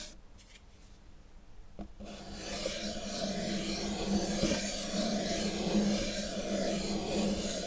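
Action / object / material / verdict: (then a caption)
scrape / small cardboard box / cardboard / none. A small, dark, hollow cardboard cube box is held in one hand while the fingertips and nails of the other hand rub and scratch it. After about two seconds of near-quiet with a few faint ticks, a steady, close-up scratchy rasp builds and continues to the end, carrying a low hollow resonance.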